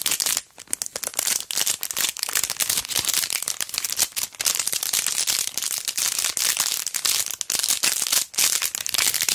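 A long pearl sticker strip lying flat in a clear plastic sleeve is held upright and then horizontal while fingertips and long dark nails squeeze and crinkle it. The result is a dense, continuous bright crinkling and crackling with almost no low end, broken only by a couple of brief quiet gaps.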